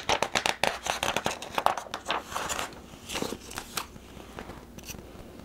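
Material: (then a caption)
Glossy paper. A thin, medium-sized printed catalog, an orange sign-making equipment brochure with glossy paper pages, is held in the hands while its pages are turned and flexed with the fingertips. Crisp, bright paper rustling and crackling comes in quick, irregular bursts, densest in the first half and then thinning out into softer crinkles.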